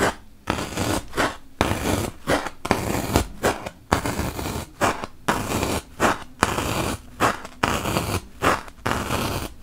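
A wooden toothpick is poked repeatedly into a large, solid white melamine foam magic eraser block. Each poke gives a short, dry, crunchy scratching burst with a bright, papery texture, spread across a broad range. The bursts come in an uneven rhythm with brief quiet gaps between them.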